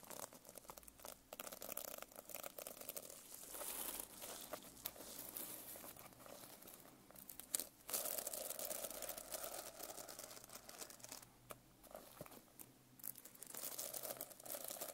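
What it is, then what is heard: Sequin-covered notebook. A medium hardcover notebook with a rainbow reversible sequin cover, held upright, as long painted nails scratch and brush across the sequins, flipping them. The result is a steady, dense, bright crinkling and rustling with quick scratchy bursts and brief pauses, mostly high in pitch with very little low end.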